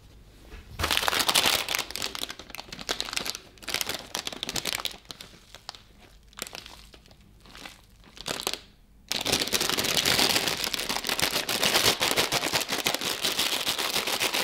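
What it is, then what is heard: Plastic snack bag being crinkled. A closed, full, hand-sized plastic bag of Griski pretzel sticks is held and squeezed by black-gloved fingers over an ice cream pan. Bright, crisp crinkling comes in bursts with quieter gaps. About two-thirds through, it turns into steady, dense crinkling that lasts to the end.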